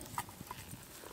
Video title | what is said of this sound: Camp Oven Cooking - Scones | you know they're ready when you tap them and they sound hollow